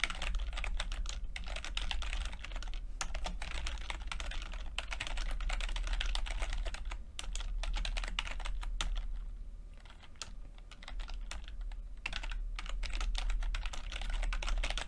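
Fingertips of both hands type on a plastic backlit chiclet computer keyboard with plastic keycaps, making rapid, irregular short clicks with a bright ring. A steady low hum runs underneath, and the typing eases briefly near the ten-second mark before picking back up.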